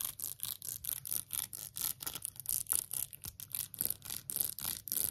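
Long acrylic nails scratch and tap quickly across an empty, small, hollow rainbow 3D silicone phone case with a colorful raised wavy heart design. About twenty short, bright, hissy scratching bursts follow one another at an uneven, rapid pace. Each is dry with almost no ring and has only a faint low thud underneath.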